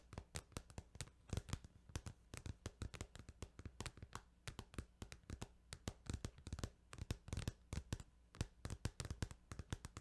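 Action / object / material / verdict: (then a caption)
tap / plastic video game case / plastic / none. Tapping on a plastic Final Fantasy 8 video game case produces a quick, continuous run of short, dry clicks that snap up into the high range and die almost instantly. A steady low hum sits quietly underneath the taps throughout.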